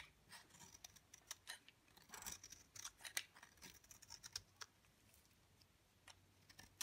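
A utility knife blade scrapes shavings off the surface of a solid, dry, pale green bar of soap held in the hand. It makes a quiet, rapid run of crisp, dry, bright scraping ticks and rasps with almost no low end, each stroke stopping short with no ring.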